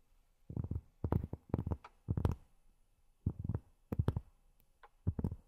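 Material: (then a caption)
Cork. Long fingernails tap on cork in short bursts of quick, soft strokes separated by brief pauses. Each tap is a dull, low thud with a faint bright click at the start, and it dies away almost at once.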